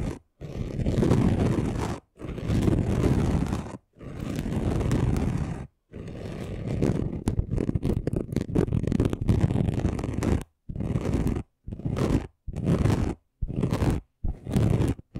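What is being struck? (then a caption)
Glitter craft sheet. Both hands scratch the rough surface of a flat chunky gold glitter craft sheet with short nails, making dense, gritty scraping. The scraping comes in bursts of one to four seconds separated by brief silences, with a longer stretch in the middle made of quick strokes. The sound is heavy in the low end.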